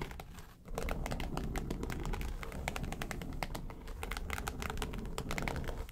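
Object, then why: Faux leather makeup case. Fingernails tap quickly on the lid of a small, hollow, yellow textured faux-leather makeup suitcase. The result is a dense, steady run of sharp, bright clicks with a dull low thump under them, and each tap dies away almost at once.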